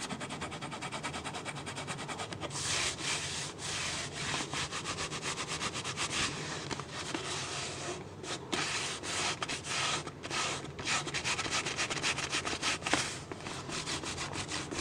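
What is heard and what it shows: Fingers rub and scratch the sides and base of an empty, hollow, clear PET plastic water bottle held close up. The sound is a steady, bright, hissy scraping with quick crinkly ticks, growing louder and denser after the first couple of seconds.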